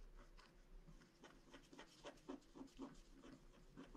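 A wooden stylus scratches a small star near the top edge of a flat, black wax-coated paper scratch art card. Soft, dry scraping strokes come in an uneven rhythm of about two per second, each brief and dull, getting a little louder and crisper in the second half over a faint low hum.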